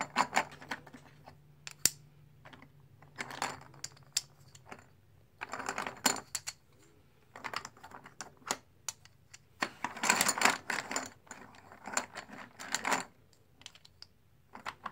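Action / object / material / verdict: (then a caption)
tap / plastic poker chips / plastic / none. Fingers stack small solid plastic/composite blue poker chips in the palm and sort a pile of them in a tray. Quick, bright clicks and clatters come in bursts, with short quiet gaps between them.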